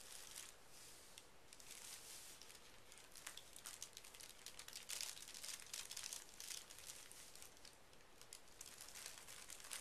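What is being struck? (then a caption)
Thin tissue paper sheet. Fingertips and short nails smooth and lightly scratch a large flat sheet of thin pink tissue paper lying on carpet. The result is a steady, soft, bright crinkling and rustling with quick crackly scratches and swishes, and little low-end body.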